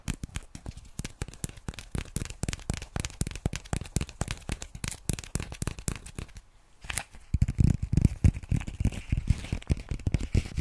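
A small white lined paper notepad is held up and tapped fast on its cover and edges with long nails. The result is a dense run of quick, dry, crackly clicks with a soft papery rustle, which briefly pauses near the seven-second mark. The taps then return with heavier, deeper thuds.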